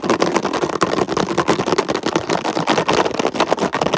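Fingertips and nails rapidly tap and scratch across a hollow red plastic container lid with raised ridges. The result is a dense, continuous stream of quick clicks and scrapes, with a crackly midrange centered around 645 Hz.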